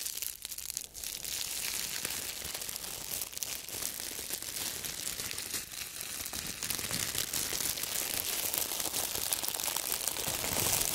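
A hollow, loosely bunched wad of thin, clear, wrinkled plastic wrap, held in both hands in fingerless gloves, is crumpled and squeezed by fingertips in front of the microphones. The result is a dense, continuous crinkling and crackling that is bright and high with almost no low end, growing slightly louder toward the end.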